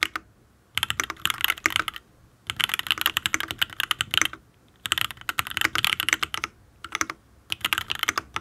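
Fingertips type in bursts on a full-size custom mechanical keyboard, a Matrix Ablex Penpen with an aluminium case, ABS keycaps and Tealios V2 linear switches. Each key press is a short, sharp, bright clack with almost no low end. The clacks fall in quick, uneven runs separated by brief pauses.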